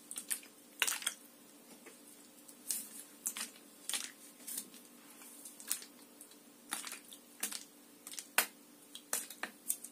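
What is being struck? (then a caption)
Plastic water bottle. A clear, mostly empty, hollow plastic water bottle with an orange cap is held and tapped and scratched with long nails. Quiet, sharp, bright clicks and crinkly scratching come in irregular bursts with brief pauses between them. Each tap dies away almost at once.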